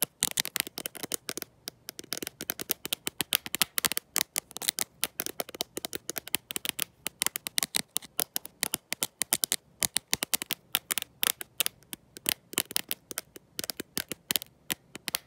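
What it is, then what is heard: Glass-backed smartphone tapped with nails. A black smartphone with a glossy glass back and no case, held in one hand, is tapped and scratched by long nails fitted with gold metal paperclips. The result is a fast, continuous stream of sharp, bright clicks and scratches, each dying away almost instantly, with almost no low-end body.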